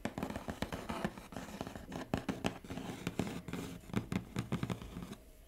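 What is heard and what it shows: Fingertips and medium-length painted nails tap and scratch across the top of a large, flat, hollow brown corrugated cardboard Huawei laptop shipping box lying on a table. A quick, irregular run of dull, hollow taps with a low boxy resonance mixes with dry scratching. The sound trails off into quieter rustling at the end.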